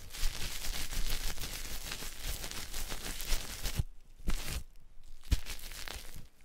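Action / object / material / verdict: scrape / soap bar and cloth / soap / none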